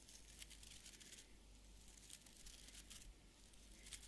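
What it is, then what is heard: Beard brush bristles scratched. A small beard brush with an orange wooden back and stiff fibre bristles is held in one hand while fingertips flick and scratch across the bristles. The result is a quiet, bright, crackling scratch with sharper flicks rising here and there, over a steady low hum.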